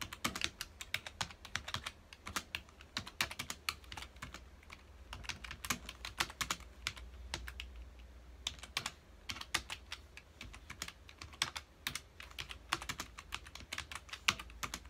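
Fingertips of both hands press the keys of a full-size black plastic computer keyboard on a dark desk in rapid bursts. Bright, short clicking taps come in quick irregular clusters with brief pauses, each tap dying away almost instantly over a faint steady low hum.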